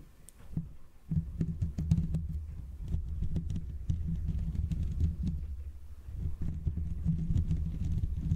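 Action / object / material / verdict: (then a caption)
scrape / metal mesh microphone grille / metal mesh / none. Fingertips and short nails scratch and rub both sides of the hollow, rounded metal mesh grille of a Blue Yeti condenser microphone. After a quiet first second, a steady, muffled low rumbling rub sets in, with a hum near 160 Hz and a dense scatter of quick, crisp ticks and scrapes that flicker up into the highs. It stays close and full for the rest of the clip, swelling and easing slightly as the rubbing moves over the mesh.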